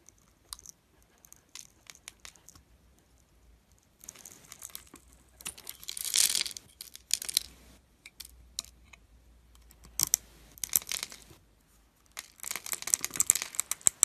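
A metal utility blade carves and scrapes a solid, palm-sized, green translucent glycerin soap bar, held in hand and pre-scored in a grid, shaving off small cubes. Light, scattered ticks give way to crisp, bright crackling and scraping bursts that come and go, and the final few seconds are the densest and loudest.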